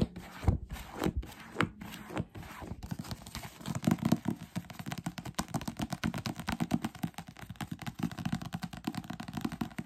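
A thick paperback novel is held in the hands while fingertips tap its cover and flip and fan through its pages. A few separate, dull, low thumps come first, then give way to a fast, dense run of soft tapping and papery flicking with a warm, low-heavy tone.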